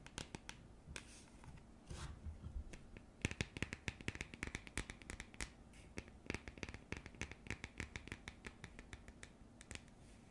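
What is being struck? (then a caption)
Printed cardboard coaster tapped and scratched with fingernails. Long nails tap and scratch the face of a round printed cardboard coaster. Dozens of quiet, dry, sharp clicks come in quick irregular bursts, with soft scratchy rasps and a bright, papery edge between them. Each tap dies away almost instantly.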